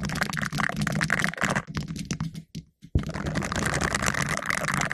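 Two green silicone finger brushes worn on the fingertips scratch and rub the round, hollow black metal mesh grille of a condenser microphone, making dense, crackly rasping with a boomy low rumble and a bright, hissy edge. The scratching thins out and drops to near silence for a moment, then resumes abruptly at full intensity.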